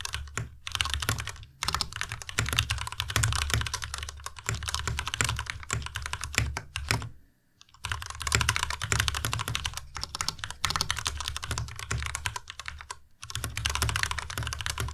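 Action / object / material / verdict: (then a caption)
tap / plastic mechanical keyboard / plastic / none. A white compact Ducky Miya Pro mechanical keyboard with plastic keycaps is typed on continuously with the fingertips of both hands. It gives a steady, dense stream of bright plastic clicks over a low, thocky body. Brief pauses come near the start, around 7 seconds and near 13 seconds.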